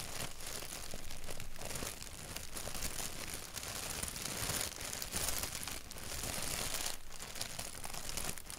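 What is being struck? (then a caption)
Thin paper napkin. A thin white paper napkin with a black doodle print is held by its edges while fingertips rub and crinkle it. The result is a steady, close crinkling and rustling with a bright, high papery texture over a low rumble, swelling and easing over about nine seconds.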